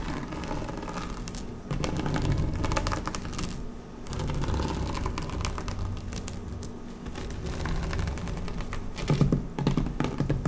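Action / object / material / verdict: scrape / woven vinyl placemat / vinyl / none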